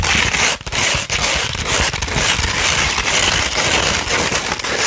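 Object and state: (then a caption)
Sandpaper sheet scratched. Fingernails scratch across a 240 grit sandpaper sheet, first held curved and then laid flat. A dense, continuous, bright gritty rasp fills the clip, with a few brief dips where the strokes pause.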